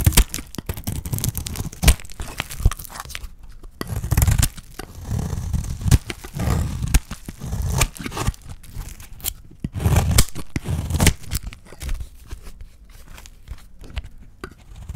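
A solid, hand-sized beige bar of dry soap with a dark wrapper edge is shaved and cut with a small metal blade. Dense, crisp scraping and crunching strokes come in quick succession, mostly low and full-bodied with brief bright edges and very short decays.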